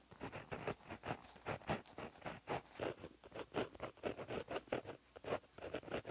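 A gel pen tip is dragged across a flat, solid black lined notebook page in handwriting strokes. About twenty short, light scratching rubs follow one another in a quick, uneven rhythm, each centered in the midrange with a faint bright edge. The writing is quiet and close, with brief pauses between strokes.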